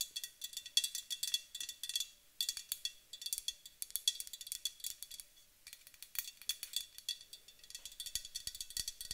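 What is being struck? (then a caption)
Aluminum aerosol spray can. A white-painted aluminum aerosol spray can is tapped with long acrylic nails along its body and near the top. Quick, bright metallic clicks with a high ringing tone fall in steady, rapid clusters, each tap dying away almost at once.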